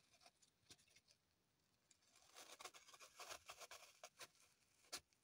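Long pointed acrylic nails scratch and rub a small, solid, unwrapped green floral foam block resting on a table. Quiet, dry, bright scratching comes in irregular bursts, sparse at first and denser after about two seconds, with a sharper, louder scrape near the end. Each stroke cuts off quickly with no ring.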